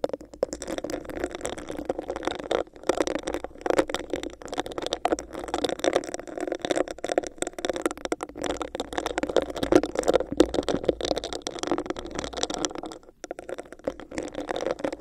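Long nails scratch a hollow, empty, clear bumpy textured plastic cup held over the mic. The result is a dense, continuous scratchy rattle with a hollow midrange body and a little high hiss, briefly dropping out around 3 and 13 seconds.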